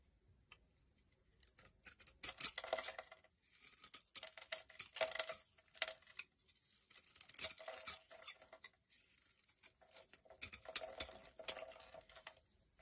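A utility knife blade scrapes flakes off a solid, bright yellow oval bar of soap with embossed lettering, held in the hand. Quiet, dry, crisp scraping comes in short bursts separated by brief pauses, with bright, high rasping texture and almost no low end.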